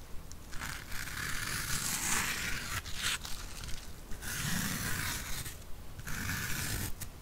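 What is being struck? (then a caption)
Foam sponge block. Long painted nails scratch and rub a soft, porous, rectangular yellow foam sponge block. The result is a steady run of dry, raspy scraping strokes, with a bright hiss and a focused band around 1.7 kHz that swells and fades with each stroke over a low rumble.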